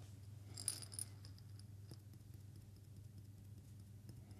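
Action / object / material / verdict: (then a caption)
shake / small glass jar with coffee beans / glass / none. A small hollow glass jar with a metal lid, partly filled with coffee beans, is shaken and turned by hand. Bright, clicky rattles of beans against glass peak early, then fade into softer scattered ticks over a steady low hum.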